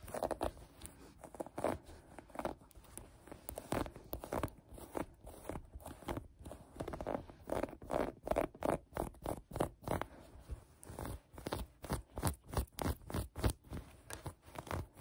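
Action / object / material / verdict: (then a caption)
scrape / cotton sweatshirt fabric / cotton / none. Long acrylic nails and fingertips scratch and rub a soft maroon cotton sweatshirt bunched on a table. The result is a steady run of short, dry, crunchy scratches, each brief and broadband, at an uneven pace of roughly three per second.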